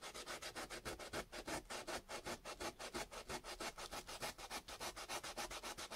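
A small, solid chunk of raw potato is held in the fingertips and rubbed rapidly back and forth on sandpaper, about 39 short, even strokes. Each stroke makes a bright, gritty rasping scrape with little low end, leaving a wet grated smear on the paper.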